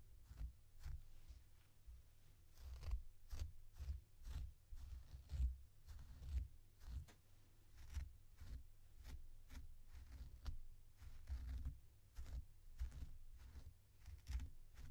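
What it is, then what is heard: Faux fur plush toy being combed. A blue plastic comb held in one hand is drawn through the long synthetic faux fur of a small, soft, stuffed purple plush toy held in the other hand. The result is a steady series of quiet, soft combing and scratching strokes, each a brief brushy rasp with faint bright edges over a low, muffled rumble.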